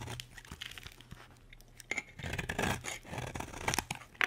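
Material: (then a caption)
Soap. A solid, dry green bar of soap held in a hand with long red nails is carved with a metal utility blade. Dry, crunchy scraping and shaving sounds come in short bursts that build into denser, brighter crackling, over a faint low hum. A sharp, bright scrape closes the clip.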